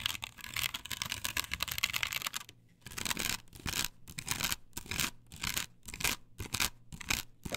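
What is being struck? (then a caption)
Perforated plastic stencil on a wooden board. Long pointed nails on clawed fingers scratch aggressively across a flat, perforated plastic stencil template glued to a wooden board. A bright, raspy scraping runs continuously for the first couple of seconds. After a brief pause, it continues in short, rapid bursts separated by quick gaps.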